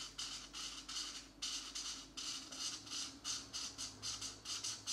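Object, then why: Felt-tip marker on a thin paper coloring book page. A felt-tip marker scratches and rubs back and forth across a thin paper coloring book page held flat, filling in blue shapes. About fifteen quick, quiet strokes are heard, each a dry, bright, hissy scrape with almost no low end and no ring between them.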